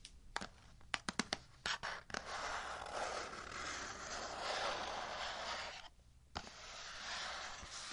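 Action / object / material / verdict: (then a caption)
scrape / cardboard box / cardboard / none. Fingertips and nails tap and scratch the surface of a medium, hollow kraft-colored cardboard box held on a table. About a dozen sharp, separate taps come first, followed by a long, broadband scratching sound that briefly drops out and then resumes.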